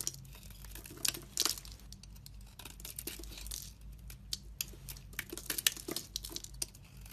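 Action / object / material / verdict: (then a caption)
scrape / bar of soap / soap / none. A utility knife blade scrapes shavings off the top of a solid soap bar with red painted edges and a translucent shaved face, held in a long-nailed hand. Quiet, bright, crisp crinkling scrapes come in a quick run of short strokes with almost no ring, over a faint steady low hum.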